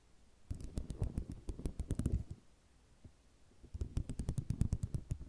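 A flat sheet of small white square ceramic mosaic tiles resting on cloth is tapped and scratched with long nails. Two bursts of rapid, clicky taps and scrapes are separated by a brief quiet pause. Each burst has a soft low thud body and faint bright ticks.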